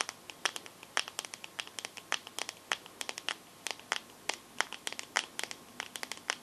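Long nails tap and scratch on the glass back of a teal smartphone held sideways. About forty sharp, bright clicks land in a quick, irregular rhythm, each dying away almost instantly with no low end. A faint dry scratching fills the gaps between them.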